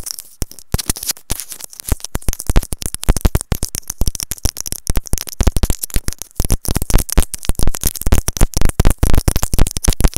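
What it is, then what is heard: Plastic earphone inline microphone. A small white plastic earphone inline microphone on its cable is tapped and scratched with long nails. Dense, irregular close-up taps and scratching come through with a heavy low thump and a bright hiss above. The bursts are short and dry.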